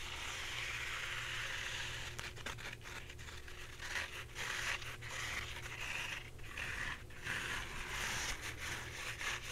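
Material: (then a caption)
Paper. Fingernails scratch the soft surface of a full roll of white embossed paper towels, held sideways and then upright. A steady, bright, papery hiss gives way after about two seconds to quicker, uneven scratching strokes, over a constant low hum.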